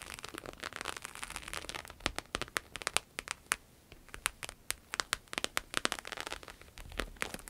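Long nails tap and scratch across a small glossy red croc-embossed patent vinyl wallet held on a table. Sharp, bright clicks come in quick irregular bursts over a dry, crackly scratching texture, with almost no low end and no ring after each tap.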